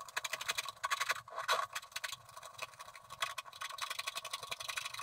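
A wooden stylus scratches the left side of a coated scratch-art card lying on a table. It makes a steady run of quick, irregular, dry scraping strokes with a bright, hissy texture and almost no low end.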